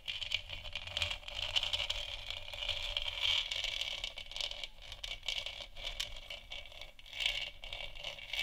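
Long nails scratch across the top and sides of a large, hollow, textured plastic moon lamp sphere. The result is a continuous, bright, dry scraping with rapid rattling texture, centred around 2–3 kHz and with little low end. Brief louder strokes stand out near 0.3, 1, 3.3 and 7.2 seconds.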